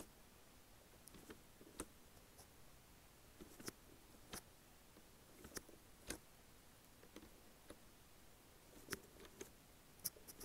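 Long nails tap the plastic keys and panel of a black and lime Logitech wireless keyboard, worn with a ring on the hand. Quiet, dry clicks and taps come at irregular intervals, each with a bright, high edge that dies away almost at once, over a soft, steady background hiss.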